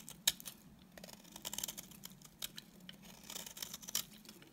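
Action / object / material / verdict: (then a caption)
scrape / bar of soap scraped with a knife blade / soap / none. A solid, dry beige bar of soap is scraped and shaved with a utility knife blade. The result is a quiet run of crisp, bright scraping and shaving clicks with very short decay over a faint low hum. Sharper snaps stand out near the start and the end.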